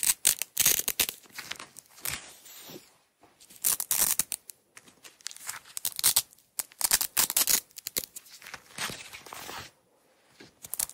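A small roll of red nylon hook-and-loop (Velcro) tape is held in the hands while long nails peel the strip away from the roll. Bursts of bright, crackling, rasping tearing come in several separate peels with short quiet pauses between them, and almost no low end.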